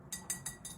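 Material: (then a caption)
Metal. A thrifted metal skull-shaped bottle, not ceramic, being painted, is tapped four times. Each tap gives a short, bright metallic clink centered high that fades quickly.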